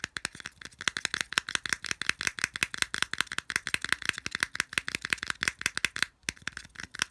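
A small hollow white plastic earphone case is held in both hands while fingers rapidly flick and rattle its ridged edge slots. The result is a fast, steady stream of dry, crisp clicks and rattles, bright and light with almost no low end, each tap dying away instantly. The rattling runs for about seven seconds with only a brief break just after the six-second mark.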